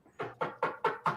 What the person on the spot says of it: you can hear me knocking on wood with my microphone